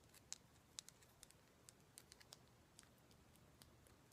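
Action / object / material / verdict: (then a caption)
tap / raw rose quartz chunk / quartz / none. A fist-sized raw chunk of solid pink rose quartz is held in both hands and tapped and scratched with long black acrylic nails. Fourteen quiet, sharp, bright clicks come at an uneven pace, each dying away almost instantly, with faint scratchy texture over a low background hum.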